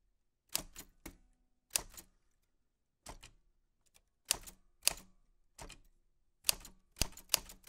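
White-gloved fingertips press the round keys of a black 1940s Smith-Corona portable typewriter, a vintage machine with a metal body and paper loaded. About eleven sharp, bright key clicks and typebar strikes land in irregular bursts with short gaps of silence between them. Each strike snaps off almost instantly, with a faint low thud under the crisp metallic clack.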